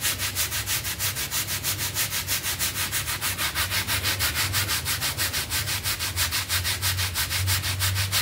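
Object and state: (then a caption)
Synthetic pile carpet mat being scrubbed. A small rectangular synthetic pile carpet mat, wet and covered in soapy foam, lies flat on a tiled floor and is scrubbed back and forth with a red hand brush with dark bristles. Steady, rhythmic, bright scratchy swishes repeat about three times per second over a low background hum.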